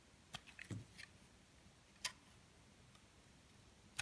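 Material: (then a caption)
Soap. A metal blade shaves and scrapes strips off a solid purple soap bar held in the hand. About six short, bright, crisp scraping clicks sound at irregular intervals, with a small cluster early on and sparse ones later. Each dies away almost instantly against a quiet, faint background.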